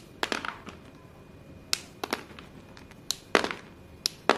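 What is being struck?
Pieces of white chalk.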